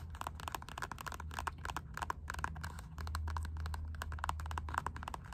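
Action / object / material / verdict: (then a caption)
tap / rubber slide sandal / rubber / none. Long nails scratch and tap across the ribbed strap of a black Puma rubber slide sandal in quick, dense bursts of dry clicks and scrapes centered around 1 kHz. A steady low hum runs underneath and grows slightly louder about halfway through.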